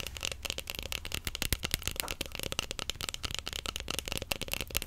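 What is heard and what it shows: A large, long, cylindrical roll of clear plastic cling film wound on a cardboard core is held at different angles and tapped quickly with long acrylic nails. The result is a dense, steady stream of short, crisp clicks and taps with a bright, papery edge over a faint low rumble, each tap dying away almost instantly.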